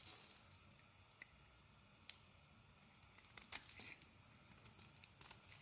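A solid dark green bar of soap, held in the hand, is shaved with a metal blade. Quiet, bright, crisp scraping and crinkling is broken by a series of sharp, short ticks, with a busier cluster of shaving sounds near the end.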